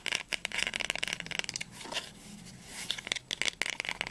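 Fingernails tap quickly and scratch along the textured linen spine of a small, solid, blue cloth-bound poetry volume with gold embossing, first held upright and then turned sideways. About fourteen crisp, bright clicks come in rapid bursts with almost no ring or low end, broken in the middle by a softer, steady scratching rasp.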